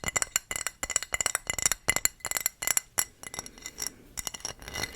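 A thrifted dark blue decorative ceramic wall tile, showing a donkey and women with fruit and plain on the back, is tapped in quick, uneven bursts. Each tap gives a bright, glassy clink with a ringing tone near 2 kHz that dies almost at once, with little low end.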